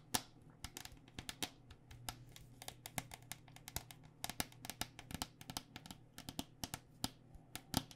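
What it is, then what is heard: Plastic cycling helmet tapped with nails. Long nails tap rapidly and irregularly on the outer plastic shell of a hollow white cycling helmet, plastic over foam, held sideways. About 37 short, dry, bright clicks sound with almost no ring, some louder than others. A steady low hum runs underneath.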